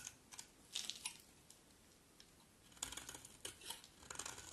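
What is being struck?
Bar of soap scraped with a knife blade.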